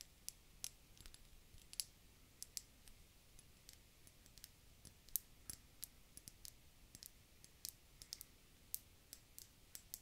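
An empty, round, hollow, clear glass bulb-shaped bottle is held in both hands and tapped with long dark-painted fingernails. The result is a quiet, steady stream of sharp, bright clicks with almost no ring, spaced irregularly over a faint low hiss.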